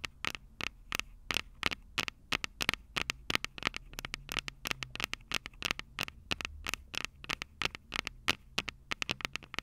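Long purple nails on both hands tap and scratch the small metal X/Y microphone capsules on top of a plastic Tascam DR-05 recorder, the same mic doing the recording. A rapid, uneven run of sharp, bright clicks and scratchy ticks, each dying away almost instantly, rides over a low rumbling hum.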